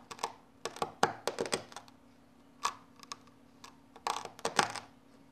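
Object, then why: Kinetic sand cut with a knife blade. A red knife blade held in the hand repeatedly presses and cuts into a flat patch of loose orange kinetic sand on a yellow surface. The result is a quick series of short, sharp, bright clicks and crunchy taps, some clustered in rapid bursts, with pauses between them. A faint steady low hum sits underneath.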